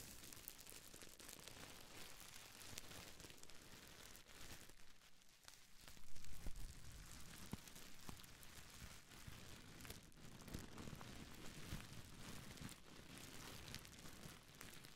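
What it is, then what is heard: Plastic bubble wrap. A small folded bundle of clear plastic bubble wrap is held close to a pair of microphones and squeezed and crinkled with fingers and long nails. The result is a quiet, steady stream of crackling, crinkling and rustling with dense bright texture, plus a brief louder burst of crunching near the middle.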